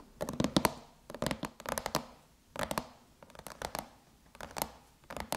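Long chrome nails tap a closed silver aluminum MacBook lid with an Apple logo, striking with both fingertips and nail tips. The sound is quick, dry clicks in rapid clusters separated by short pauses, each tap bright and very short with no ring.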